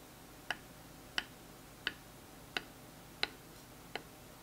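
A smooth wooden dowel taps against a thin, textured wooden stick held in the hand, making six short, bright clicks at a steady pace. Each click is dry and dies away almost instantly over a faint, quiet background.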